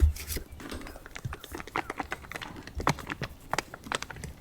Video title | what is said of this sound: O'Leno State Park, The Mystery Of The Santa Fe River | You can hear it's really thick now.